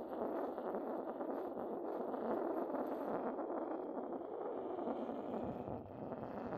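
The side of a porcelain pestle rubs steadily across the base of an upturned, hollow, white decorated porcelain mortar. It makes a continuous, dry scraping sound, centered in the mid-range with little low or high content. The level stays fairly even throughout.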